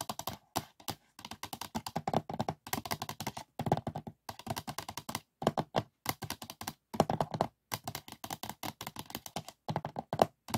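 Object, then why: Polycarbonate DVD disc on a plastic case. A printed polycarbonate DVD disc lies flat on top of a closed DVD case while fingertips and nails tap quickly across its surface. Dozens of short, dry plastic clicks come in rapid, uneven bursts with brief pauses between runs. The taps have a mid-range tone and almost no ring.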